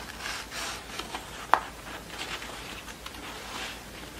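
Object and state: Satin award ribbon scratched.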